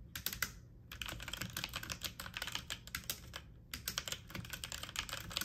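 Fast typing on a full-size backlit mechanical computer keyboard with plastic keycaps, pressed with fingertips and medium nails. It produces a dense stream of sharp, bright clicks and clacks, each dying away almost instantly. The stream has two brief pauses before the rapid typing resumes.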